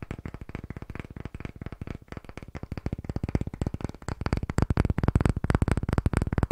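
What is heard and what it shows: A palm-sized round disc of light pine wood, solid-looking and held in both hands close to the microphone, is tapped rapidly with fingertips and short nails. The result is a fast, uneven flurry of dry, deep-toned knocks with almost no ring, growing louder and fuller after about four seconds.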